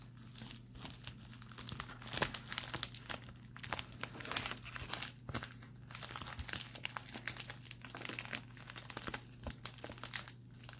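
A pink metallic foil bubble mailer is scratched and crinkled with fingertips and short nails, first on a table and then held up. Dense, bright crackling and crinkling comes in uneven bursts over a steady low hum.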